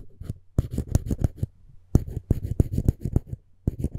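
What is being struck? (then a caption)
Wooden spoon handle. A dental floss pick's string is rubbed back and forth across the edge of a solid, light wooden spoon handle. It makes quick, dry scraping strokes with bright, raspy tops over a low, steady hum. The strokes come in rapid bursts separated by brief pauses, each one stopping dead with no ring.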